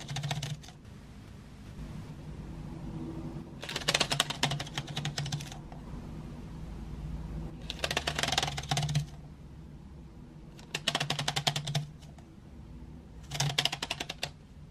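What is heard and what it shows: Long nails tap rapidly across painted wooden graphite pencils spaced in an open metal tin tray. The taps come in five quick, bright, clicking bursts, each dying away almost at once, over a steady low hum.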